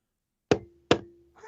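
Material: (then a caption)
Plastic. The plastic enclosure of a B&O Core audio streamer is knocked twice, giving two short, dull knocks with a faint low tone lingering briefly after each. A quieter, softer sound begins just before the clip ends.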